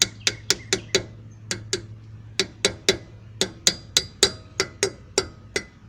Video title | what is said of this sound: Pt 4 Somerset E3 Brake replacement | now it sounds solid instead of that tinny tinny sound